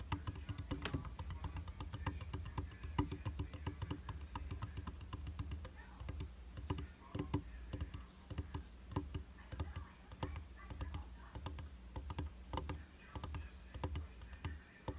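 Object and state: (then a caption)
Glass mirror tapped with fingertips and nails. Fingertips and nails tap and drum on the solid flat glass surface of a round tabletop makeup mirror with a white plastic frame. The result is a steady stream of quick, dry clicks with almost no ring, over a soft low rumble, with bright ticks where the nails strike.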